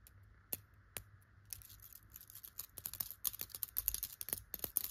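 Long clear and glitter pointed nail extensions scratch and brush over the tufts of a yellow chenille tufted pillow fabric. Soft, bright, crackly scratches start sparse and grow denser and louder toward the end, with each stroke dying away almost instantly over a faint steady background hiss.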